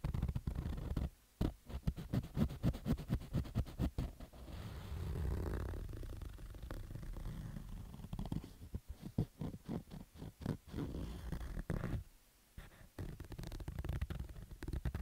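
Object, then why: Fabric baseball cap. Fingernails scratch across the stitched fabric rows of a black baseball cap. Quick, dry scratching strokes come in fast bursts, with a softer, steadier rubbing stretch in the middle. The sound is dull and heavy in the lows, with brief silent pauses near the start and toward the end.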